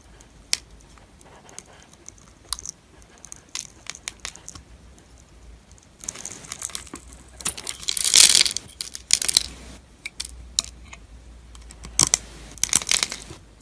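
A knife blade scrapes small cubes off an oval, solid, translucent green soap bar that has been scored in a grid. Crisp, bright clicks and crackly scraping come in scattered ticks at first, then swell into denser, louder bursts of crumbly scraping in the middle and near the end.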